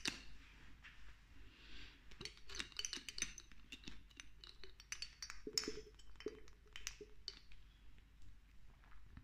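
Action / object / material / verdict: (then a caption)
tap / small glass dropper bottle with oil / glass / none. Long nails tap quickly on a small amber glass dropper bottle of castor oil with a green label and a dropper cap, partly filled with oil, while the dropper is worked so it clinks against the glass. Fast, bright clicks and short, high clinks come in a busy, uneven run over a soft low background hum.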